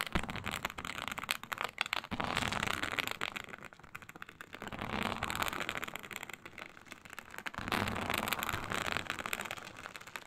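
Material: Synthetic leather.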